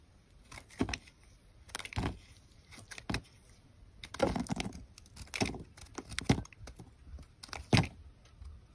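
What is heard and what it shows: A hand-sized solid white bar of soap is held in the hand and carved and scraped with a metal box-cutter blade, shaving off thin slices. Short, crisp scraping and crunching strokes come in uneven bursts, each with a soft low body and a bright, dry edge, separated by near-silence.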